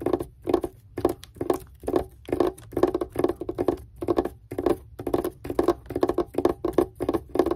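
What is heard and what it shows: Long red-painted nails tap and scratch with both hands across a wrapped gift box lying flat, covered in white wrapping paper with red polka dots. The result is quick bursts of dry, papery tapping and scratching with a mid-pitched body and a thin bright hiss above. Each burst stops short with almost no ring.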